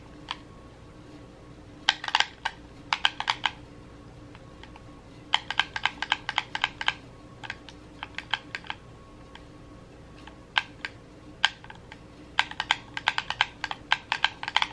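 A red, hollow plastic gamepad is held in both hands while the thumbs rapidly press its buttons. The result is quick bursts of sharp, bright plastic clicks that die away almost instantly, separated by short pauses over a faint, steady background hum.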